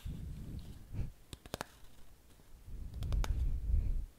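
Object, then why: Small cardboard gum box. A small, hollow, printed Glee Gum cardboard chewing gum box is turned in the hands while long painted fingernails tap and scratch its sides and barcode face. Low, rumbling scratching and handling noise is punctuated by short, sharp nail clicks that ring briefly and come in two quick clusters.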